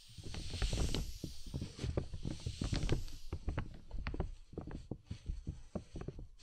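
Two soft makeup brushes, one in each hand, brush and sweep across the outside of a large transparent PVC dome umbrella, a thin hollow plastic canopy, set over a binaural microphone. The strokes come as a dense run of soft, hollow, rumbling swishes with a faint airy hiss. Their low, drum-like resonance makes the plastic shell sound deep and muffled.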